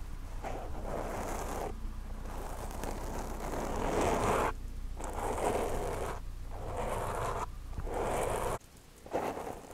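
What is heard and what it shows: Long nails and fingertips scratch and rub a black foam windscreen on a microphone. Close, muffled scratching and rustling come in repeated bursts with brief quiet gaps. A low rumble sits underneath throughout.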